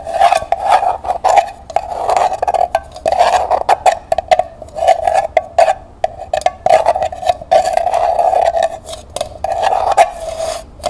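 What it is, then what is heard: Small metal pail. Fingertips and nails scratch the inside wall of a small, hollow, empty copper-colored metal pail lying on its side. The result is a run of quick scratchy bursts with sharp clicks, each one drawing out a hollow metallic ring near 650 Hz with bright edges on top.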